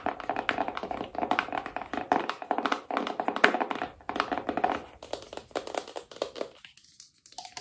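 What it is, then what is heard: Cardboard box. Long nails tap quickly across the front and edges of a small, hollow black cardboard iPhone box held up in the air. The result is a rapid run of dry, hollow clicks with a papery mid-range knock that dies away almost instantly. The tapping grows softer and sparser toward the end, with a brief pause just before it stops.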